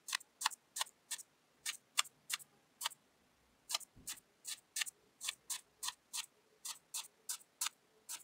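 A thin wooden skewer repeatedly pokes rows of small holes into a quartered orange kinetic sand disc, making 21 short, bright, crisp ticks with no ring. The pokes come in a steady, clock-like rhythm, with a brief pause near the middle.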